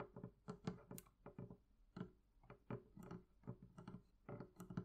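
Long nails tap the wooden planks on top of the lid of a medium, hollow, closed wooden barrel chest. The result is a quiet, uneven series of quick, dull, hollow knocks that are low in pitch and die away almost at once.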